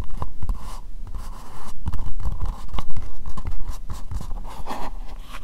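Long nails tap and scratch an empty, hollow, translucent pink plastic bowl. Quick dull knocks with a low thump are mixed with dry, scratchy rustling that comes and goes in short uneven bursts.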